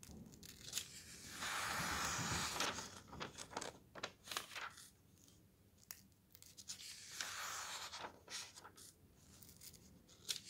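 Fingers flip the thin paper pages of a thick softcover camping guide, sliding each page between them. Quick, bright rustles and crisp flicks recur throughout, with two longer, louder swishing sweeps as pages slide across.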